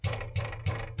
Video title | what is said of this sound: This is how a Ferrari 458 SHOULD Sound! | Hear that rattle ting sound. It's coming from this hanger